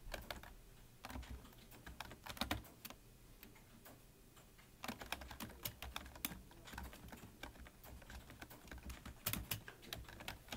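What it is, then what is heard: Plastic computer keyboard being typed on. Fingertips of both hands type quickly on a full-size black plastic computer keyboard with a hollow body, resting on a desk. Rapid, dry key taps clatter in uneven bursts, each with a soft low thump and a bright click that dies away almost instantly. The typing eases into quieter, sparser taps midway, then picks back up into a dense flurry.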